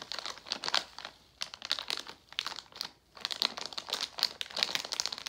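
A Jolly Rancher plastic foil candy pouch is turned over and pressed flat by hand, giving dense, bright crinkling in bursts. Two short quiet gaps break the crackle, and the sound is almost entirely high, with no low end.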